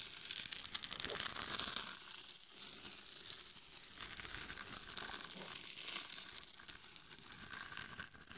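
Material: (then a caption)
Glitter. Long nails and a hand rub and scratch the face and top of a hollow, glitter-covered mannequin head microphone. The result is a steady, dense, bright crinkly scratching with almost no low end, swelling and easing in loudness across the clip.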